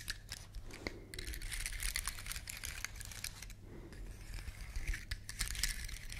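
Long nails scratch and flick the woody scales of a large, elongated, solid brown dry pine cone. Dense, crisp clicking and bright, scratchy rustling come in quick, uneven bursts over a faint low hum.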